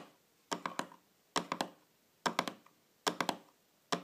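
Long fingernails tap on top of a small, shiny, round metal tin lid lying flat on a table. Thirteen quick, bright clicks come in clusters of three, with a short metallic ping around 1 kHz that fades fast. A faint soft hiss runs between the clusters.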